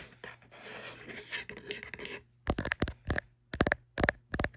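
A small printed kraft cardboard box of bamboo cutlery packaging, hollow and possibly holding cutlery, lies on fabric and is scratched and tapped with long manicured nails and fingertips. First comes a dense, papery scratching for about two seconds, then a run of crisp, dry taps in quick clusters with a bright click and almost no ring. A faint low hum sits underneath throughout.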